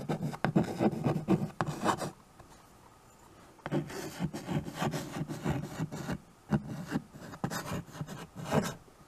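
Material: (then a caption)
Slate. White chalk held in the fingers is drawn across a small handheld chalkboard with a wooden frame, making short, scratchy rubbing writing strokes with a low, dry body. A quick run of strokes is followed by a near-silent pause of about a second and a half, then the scratching resumes in a steady series of strokes until the end.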